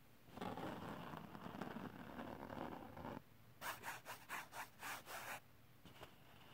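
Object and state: Glitter paper sheet.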